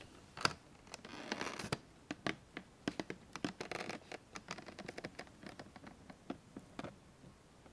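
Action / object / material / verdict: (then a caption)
tap / small printed cardboard box / cardboard / none. A small, hollow, closed Lanvin L'Escargot printed cardboard chocolate box is held in both hands and tapped and scratched with long manicured nails. Sharp, dry clicking taps come in an irregular string, mixed with brief papery scratching bursts. Each sound stops almost instantly, with no ring.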